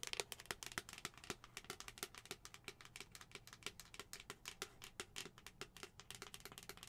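Long acrylic nails tap rapidly and steadily on the face and pink lid of a hollow white plastic skull-shaped cup. Each tap is a short, bright click that dies away almost instantly, with a faint hollow tone near 400 Hz. The result is a quiet, continuous clicky patter.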